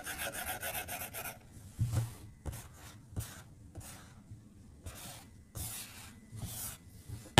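A white plastic stylus tip strokes and taps across the glass touchscreen of an iPad resting on a desk while coloring. The clip opens with a quick run of scratchy back-and-forth rubbing, then settles into separate soft, hissy strokes broken by light, dull taps on the glass.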